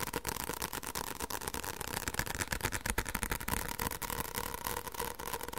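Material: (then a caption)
Paper. A white paperback book with a card cover and solid pages is held in the hands and tapped fast on the cover with the fingertips. The result is a quick, irregular stream of short, dry, papery taps that die away almost instantly, with a bright rustling edge over a steady faint background.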